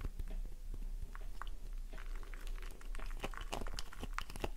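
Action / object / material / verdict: scrape / bar of soap / soap / none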